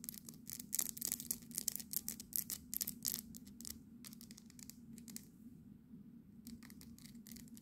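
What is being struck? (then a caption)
Small painted resin fridge magnet. Long nails rapidly tap and scratch a small, solid, painted resin souvenir fridge magnet of the Houses of Parliament. Bright, crisp clicks and scratchy rasps come thick and fast for the first few seconds, then give way to quieter, steadier scratching with a few sharper taps near the end. A low, steady hum sits underneath throughout.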